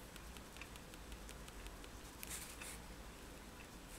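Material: Paper.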